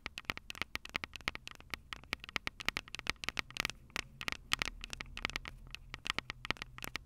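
Long purple nails tap rapidly on the metal microphone capsules of a handheld Tascam DR-05 recorder. About 44 sharp, dry clicks follow one another over seven seconds, each bright and crackly with a tone near 2 kHz. They die away instantly over a faint low rumble.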